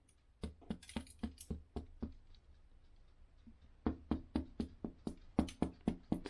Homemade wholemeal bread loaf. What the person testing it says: the way you test if bread is done apparently is if you knock the bottom of and it sounds Hollow